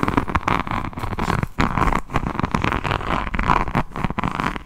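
Long nails on both hands scratch the beaded resin cover of a rhinestone diamond-painting notebook held close to the microphone. The result is a dense, continuous run of crunchy scratches and quick clicks with a strong low-mid body, little brightness, and brief dips between strokes.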